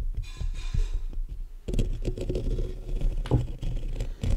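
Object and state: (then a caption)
Metal mesh microphone grille. Fingertips and short nails tap and scratch the black metal mesh grille of a large hollow condenser microphone. The result is close, boomy low thumps and dull taps with rough, scratchy rubbing, all heavy in the low end.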